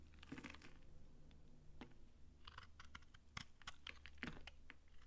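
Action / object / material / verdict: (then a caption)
scrape / bar of soap shaved with a knife / soap / none. A utility knife shaves crisp curls off a dry, hand-sized solid pink soap bar held in the palm. Quick, crunchy scrapes and crackles come in irregular bursts, some sharp and bright, over a steady low hum.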